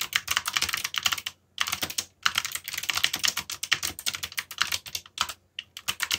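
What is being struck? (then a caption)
Mechanical keyboard with plastic keycaps. Fingertips with short nails type continuously on a full-size backlit mechanical computer keyboard with plastic keycaps and hollow key switches. The result is a steady stream of bright, crisp key clicks with short pauses between bursts.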